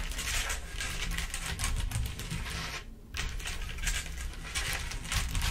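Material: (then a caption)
Glass rhinestones. Long acrylic nails on both hands tap and patter across a large flat black surface covered in small clear acrylic or glass rhinestones. The result is a dense, rapid stream of bright, crisp clicks over a steady low rumble, with a brief hush near the middle before the tapping resumes.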